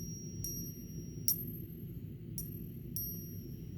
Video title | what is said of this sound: Around the World with Eva: Swiss Miss | Nothing rings like silver, you know?